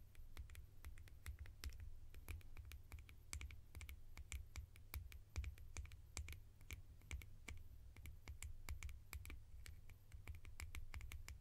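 Fingertips tap rapidly on plastic lids for ASMR, producing a fast, uneven stream of short, bright clicks that fade almost instantly. A steady low hum sits underneath the whole time.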